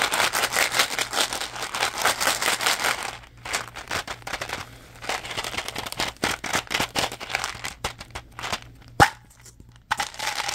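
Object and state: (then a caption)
Small plastic gum bottle, tapped and crinkled. Fingertips tap, grip and crinkle a small hollow blue plastic Mentos gum bottle with a plastic wrapper label. A dense, bright crinkling fills the first three seconds, then gives way to quicker, separate dry taps and crackles over a faint steady low hum. A sharp click lands near the nine-second mark before the crinkling returns at the end.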